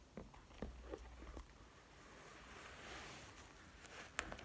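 Nails and fingertips tap and scratch the padded top of a pink-beige quilted, probably faux, leather zip-around wallet with a metal zipper, lying flat on a table. Five quiet, soft taps, three near the start and two near the end, sit around a gentle, bright scratching rustle that swells in the middle. The sound is muted and dry, with very little ring.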